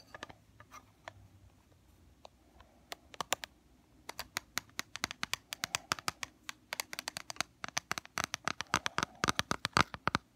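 Fingernails tap on an opened black plastic powder compact, its mirror and powder exposed. About fifty sharp, bright clicks with almost no ring are heard. They start sparse and quiet, then grow faster and louder toward the end.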